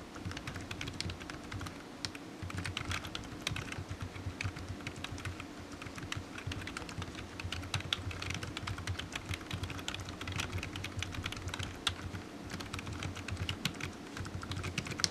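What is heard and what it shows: Fingertips of one hand tap the keys of a solid black low-profile plastic computer keyboard resting on a desk mat, typing steadily for about 15 seconds. The keystrokes are quick, dry plastic clicks with a bright top end, running in a dense, continuous patter over a faint low hum.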